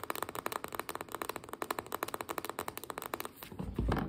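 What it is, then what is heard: Biscuit dough can metal end cap tapped with nails. Long nails tap and scratch on the shiny metal end cap and rim of a small, sealed, full refrigerated biscuit dough can held upright on its end. About 26 quick, dry, metallic clicks come in a steady run for roughly three and a half seconds, with short scratchy brushes between them. The clip ends in a louder, low-pitched rumble.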